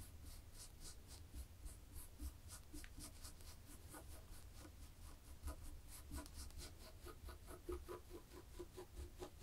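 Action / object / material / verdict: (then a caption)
scrape / knitted fabric surface / fabric / none. Long fingernails on both hands scratch a black and white textured knit fabric, making a steady, soft rasping with bright, brushy strokes over a low rumble. The scratching keeps going throughout, with short quick strokes and no clear separate hits.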